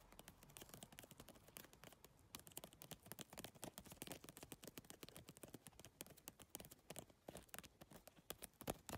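Fast fingernail tapping on a holographic geometric PVC-tile handbag made of triangular iridescent plastic tiles, followed by fingertips working at the tile edges. Dense, quick, dry clicks with almost no ring form a rapid, uneven patter with bright, crisp highs throughout.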